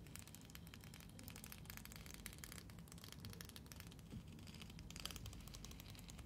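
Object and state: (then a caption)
Plastic hair comb. Long painted fingernails scratch and strum across the fine teeth of a long, thin, solid neon-green plastic hair comb held in both hands under black light. The result is a steady stream of rapid, dry plastic ticks and crackles with bright highs over a low background rumble.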